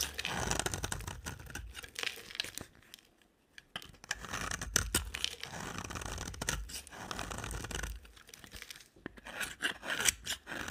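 A box cutter blade scrapes and shaves a solid, dry, pink rectangular soap bar held in a hand with long black nails. The result is a run of dry, crisp, bright scraping and crunchy tearing strokes, with brief quiet pauses between passes.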